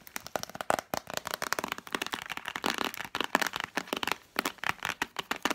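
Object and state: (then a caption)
Plastic tub with cardboard sleeve. Long nails rapidly tap the light-blue plastic lid and cardboard-sleeved sides of a hollow plastic Spontex container. The result is a dense stream of dry, crisp clicks and scratchy taps in quick bursts with brief pauses between them. The sound is bright, has almost no low end, and each tap dies away instantly.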